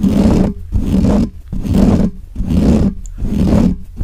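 Fingertips and nails of both hands scratch fast and aggressively on both sides of the bare, hollow metal mesh grille of a large black microphone. Five rough, low-heavy bursts of scraping roar come in a steady rhythm, each about half a second long with short gaps between them.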